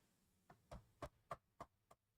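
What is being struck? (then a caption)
Aluminum laptop body. Knuckles knock seven times on the aluminum body of a Mac laptop, in a steady rhythm about a quarter-second apart. Each knock is short and dry with a hollow, mid-pitched tone near 1.2 kHz and almost no ring, over a faint low background hum.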